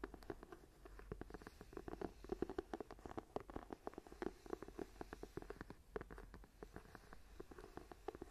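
Long nails tap and scratch along the edge and spine of a small, closed journal with a brown leather cover, held up edge-on. A quick, uneven run of soft, dull ticks mixes with light scraping. Each tap dies away almost at once, leaving a quiet, muted patter throughout.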